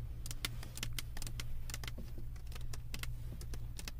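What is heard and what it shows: Long acrylic nail tips tap quickly on the resin drills of a flat diamond painting on a canvas board, making a rapid run of sharp, bright clicks. The clicks sit over a steady low hum that stays through the whole clip.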